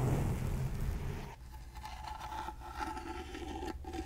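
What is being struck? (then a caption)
Small carved wooden box. Fingernails scratch over the carved surface of a small, rectangular, gold-painted hollow wooden box held in the hand. A dense, low-heavy scraping rumble opens the clip, then drops to a quieter, steady scratching with a faint mid-range tonal edge for the rest.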